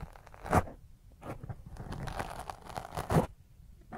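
Long fingernails scratch quickly across a black foam microphone windscreen. The result is a close, dense, crunchy scraping rustle with a strong low rumble, and two louder, harsher bursts stand out near the start and toward the end.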